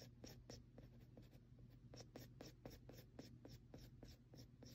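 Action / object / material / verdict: tap / graphite pencil tip on textured drawing paper / paper / none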